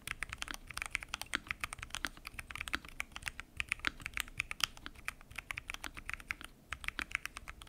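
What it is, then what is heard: Mechanical keyboard with PBT keycaps in an acrylic case. Fingertips type continuously on a full-size mechanical keyboard with lubed switches and pink and mint PBT keycaps, set in a transparent acrylic case. The result is a steady stream of short, crisp, bright key taps with very little low end, each dying away almost instantly.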